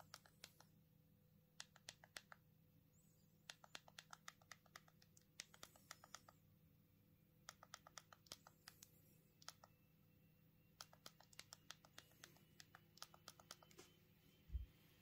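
Thumbs quickly tap the keypad buttons of a small black plastic Punkt mobile phone held in both hands while typing. Crisp, short clicks come in bursts and quick runs over a faint steady hum, with a soft low thump near the end.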